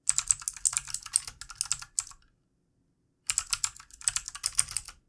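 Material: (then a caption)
Plastic. Fingertip typing with both hands on a full-size backlit plastic mechanical computer keyboard with plastic keycaps. Rapid, bright, clicky keystrokes run for about two seconds, then stop for over a second of silence, then resume in a second burst of quick typing.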